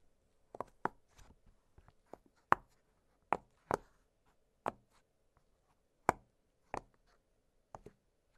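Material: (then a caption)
Silicone. Fingertips press and pop the hollow bubbles of an octagonal blue silicone pop-it fidget toy lying flat on a glittery surface. Short, dry pops with a crisp midrange snap around 1.1 kHz sound at an uneven pace, each one dying away almost instantly, with quieter taps between them.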